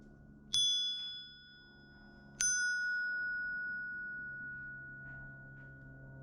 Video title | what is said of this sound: Pattern welded Ring Dagger from a wrench | the sound energy is traveling back and forth and you know you don't have any delaminations or cold fuses in there